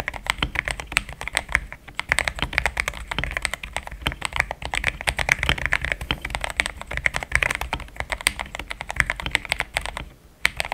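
A compact pink-and-white mechanical keyboard with thick plastic XDA keycaps, a polycarbonate plate and linear switches sits on a desk mat and is typed on quickly with the fingertips of both hands. A dense, steady stream of short, bright, clacky key strikes comes with a soft low thock beneath, and each press dies away almost instantly. The typing pauses briefly near the end, then resumes with a few final presses.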